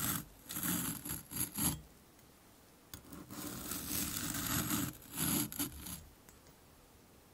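A metal fork's tines are dragged across a hand-sized, solid sphere of moulded orange kinetic sand held in one hand over a dark cloth, scraping grooves and shedding crumbs. The result is a series of gritty, rasping scrape strokes with a bright hissy top and a low grainy body, some short and some drawn out, separated by near-silent pauses.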